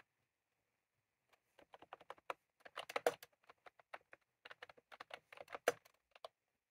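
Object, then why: Plastic keyboard with round keycaps. Fingertips of both hands type on a white/cream plastic retro computer keyboard with round typewriter-style keycaps, resting on a desk. After a second of silence comes a quiet, irregular run of short, crisp plastic clacks with a midrange body and bright tops. Each clack dies almost instantly, with small bursts of faster typing in between.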